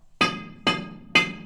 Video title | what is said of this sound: "The Old Hundred Gold Mine Like You've NEVER Seen It (w/ Minecraft Mayhem)" | Hear that hollowess in there, guys? That means there's fractures back there, okay? Cracks in the rock